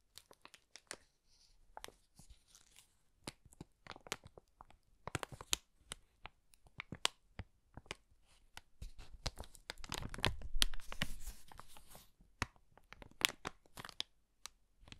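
An empty, thin and hollow brown kraft paper bag has its edge and folds crinkled and rubbed between fingertips. Quick, bright crackles and crisp tearing-like crinkles come in irregular bursts. They thicken into a denser, louder rustle about two-thirds of the way through before thinning out again.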